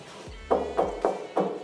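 Five knocks on a cut-corner wall section in an apartment being toured for renovation, each a short, hollow thud with little ring. The wall sounds hollow, suggesting there may be nothing behind it.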